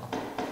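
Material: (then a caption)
Wood. Two taps on a wooden lectern give short, dry knocks with a mid-range tone around 700 Hz. Each knock fades quickly, leaving little low or high ring.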